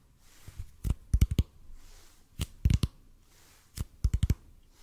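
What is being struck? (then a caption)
Bead foam roller. Fingertips tap slowly on a large, hollow, red-and-white EPP bead foam roller held horizontally above the microphone. The taps come in three loose clusters of soft, dull, low thumps with very short decay and a faint clicky edge, separated by quiet pauses.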